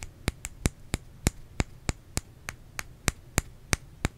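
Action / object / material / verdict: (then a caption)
tap / bar of soap / soap / none. Fingernails tap on a bar of soap in a steady, evenly spaced series of sharp, dry clicks. Each tap is brief and bright with almost no ring, over a faint low hum in the background.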